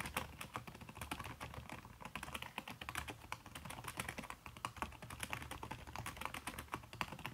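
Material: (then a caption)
Plastic, silicone. Fast typing with fingertips and long red-painted nails on a backlit aluminium laptop keyboard fitted with a red silicone skin over plastic keys. It produces a dense, steady stream of short, soft clicks with bright, quickly fading edges over a faint low rumble.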